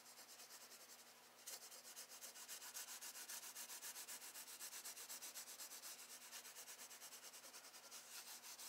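A graphite pencil held in the fingers is rubbed and scratched across thin drawing paper in a spiral-bound sketchbook lying flat on a wooden desk, shading under a swan sketch. Bright, dry scratching comes in quick back-and-forth strokes, about four per second. After a softer first second and a half, the strokes grow louder and stay steady to the end.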